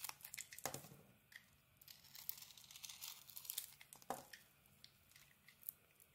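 A metal knife blade scrapes a solid, rectangular white bar of soap with a pink glitter coating, held in the hand. It makes quiet, dry, crinkly scraping and shaving sounds in uneven bursts, mostly bright and high with little low end, with two stronger, fuller strokes standing out.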